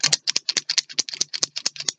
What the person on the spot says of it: you can hear whatever is in there move around